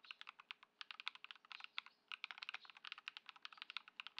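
A white Ducky One 2 SF mechanical keyboard with plastic keycaps, modded with Poron foam and swapped Lumia Matcha switches, sits on a dark mat on a wooden desk while both hands' fingertips type continuously. About 29 quick, bright plastic clacks sound in an uneven rhythm, centered near 2.3 kHz with almost no low end. Each keystroke stops dead with no ring.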